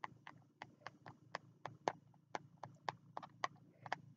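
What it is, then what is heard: Spiral notebook with card cover. Fingertips tap the card cover and edge of a small green spiral notebook held low against the chest, giving 15 short, dry taps at an uneven pace. Each tap is a quick, crisp click with a bright edge that stops almost instantly, over a faint steady low hum.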